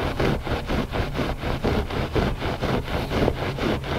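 Both hands scratch the surface of a gray looped-pile carpet rug with short nails and fingertips. The result is a steady run of rough, dry scraping strokes, about two per second, with a dull, low-heavy rasp and little bright detail.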